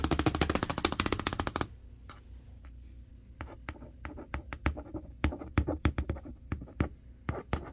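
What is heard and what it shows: Long acrylic nails and fingertips tap and trace across the printed front panel of a large, hollow, closed cardboard box for a 58-inch TV. A fast, dense run of clicky taps gives way to a quiet scratchy tracing. Then come scattered sharp nail taps over a low, hollow cardboard thud.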